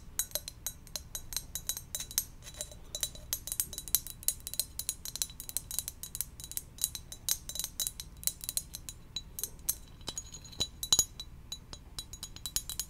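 Gentle tapping on a ceramic donut-shaped mug produces a rapid, steady stream of short, bright clinks with very little ring. A few louder taps stand out near the end.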